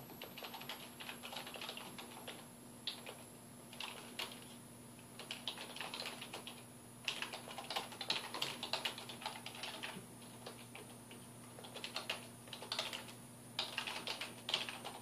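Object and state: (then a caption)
Plastic computer keyboard being typed on. Fingertips type continuously on a full-size black plastic computer keyboard with a hollow housing, resting on a wooden desk. Rapid, bright plastic key clicks and taps come in bursts with short pauses between them. A steady low hum and a faint high whine run underneath.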